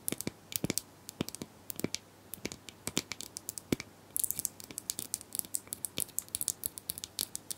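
Plastic brushes are tapped and scratched in a quiet, rapid series of short, crisp clicks with a bright, airy edge. Around halfway through, the sound becomes a denser, brighter scratching with tightly packed taps.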